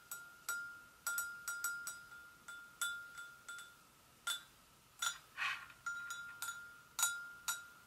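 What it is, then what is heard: Porcelain gravy boat. Long acrylic nails gently tap the sides of an empty, hollow white porcelain gravy boat resting on a stone surface, about seventeen separate taps in an uneven rhythm. Each tap gives a bright, clicky attack and a short ringing tone near 1.4 kHz with high overtones that fades quickly.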